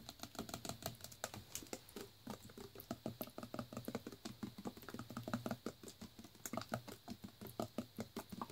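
A full plastic Naked Green Machine juice bottle is held in the hand and tapped with fingertips and nails on its bare plastic bottom section and on the label. It makes a quick, steady run of light, dry, hollow taps with a low body and short decay, like fast typing.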